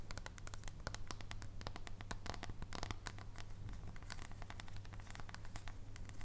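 A solid dark chocolate bar is held horizontally while its edge is tapped with long nails. Quick, irregular, crisp clicking taps with bright, scratchy edges come in a dense stream over a steady low hum throughout.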